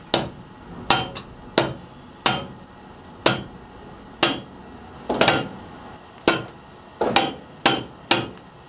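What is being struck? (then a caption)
Cast iron engine cylinder head. A hammer or mallet knocks repeatedly on a solid cast iron Model A Ford cylinder head, fitted on the block, to loosen it. Fourteen sharp, bright metallic blows come at an uneven pace, some in quick doubles, each with a short clanging ring centered near 790 Hz that dies away within a fraction of a second.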